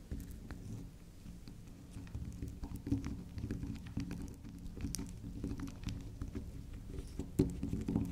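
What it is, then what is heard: Soft bar soap being scratched. Long nails scratch, scrape and tap the spiral face of a soft, solid, round pink swirl bar of soap held upright. The sound is a quiet, dull, low scratching with soft irregular taps and brief louder scrapes, with no ring after each contact.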